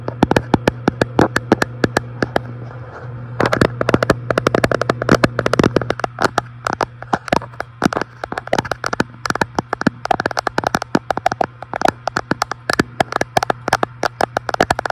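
A fingertip taps rapidly and steadily on the large flat glass front panel of an electric fireplace with fake glowing logs behind it, producing many short, sharp clicks. A steady low hum runs underneath the whole time.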